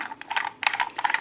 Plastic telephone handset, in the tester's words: you can hear that rattling around in the handset